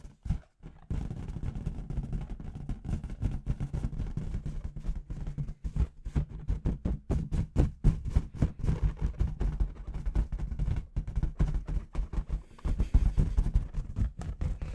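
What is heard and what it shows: A clear, hollow latex confetti balloon, inflated and held between both hands, is tapped rapidly with long red nails and fingertips. The steady run of short taps comes out as dull, deep thumps with a low resonant boom around 60 Hz and almost no bright content, each tap dying away almost instantly.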